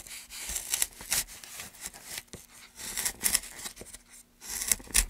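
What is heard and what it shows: A gouge is run along a long groove in a solid, light pine softwood board held in gloved hands, carving and scraping the wood. Bright, hissy shaving strokes rise and fall in repeated bursts, with short crackling peaks and brief quiet gaps between passes.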